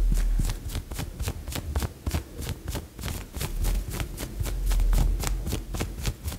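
Long yellow nails scratch the shoulder and sleeve of a worn white polka-dot blouse made of thin, soft woven fabric of unknown fiber. Quick, uneven scratching strokes make bright, dry rasps over a steady low rumble.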